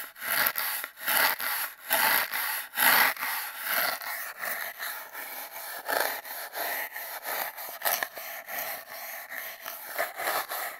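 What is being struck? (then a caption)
Cardboard tube. A single toothbrush scrubs and scratches its bristles along an empty, hollow cardboard toilet-paper tube that is taped down. The result is a series of dry, bristly rasping strokes with bright hiss, louder and more separated at the start, then settling into quicker, softer scrubbing.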